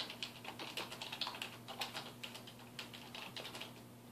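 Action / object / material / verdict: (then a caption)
tap / plastic computer keyboard / plastic / none. A black plastic computer keyboard on a wooden desk is typed on with the fingertips of both hands, producing a fast, uneven stream of bright, short key taps that fade quickly. A faint, steady low hum runs underneath.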